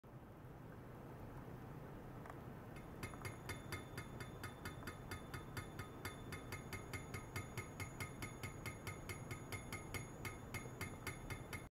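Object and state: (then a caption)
Stainless steel pipe tapped. A long, thin, hollow, empty stainless steel pipe lies horizontally on supports in a lab, with a white rod nearby. From about three seconds in, it is tapped repeatedly along its length with a black-handled, metal-shafted screwdriver, giving a steady run of short, bright metallic clinks. The clinks carry sustained high ringing tones over a constant low hum.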